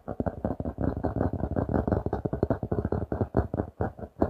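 A notebook with a glossy laminated cardboard cover is held in both hands and tapped and scratched with fingertips and nails. A fast, steady run of short, dull taps sounds, low and muffled with little brightness. Each tap dies away almost at once.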